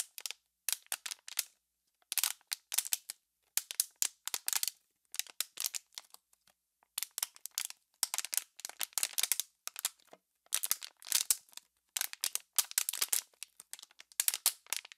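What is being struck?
Thin plastic water bottle.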